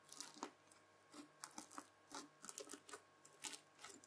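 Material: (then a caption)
Slime and beads. A white plastic fork presses and scratches into folded red bead-filled floam slime. It makes a quick series of short, bright, crisp crackling crunches as the beads pop and shift, over a faint steady hum. Each crunch is quiet and stops almost at once.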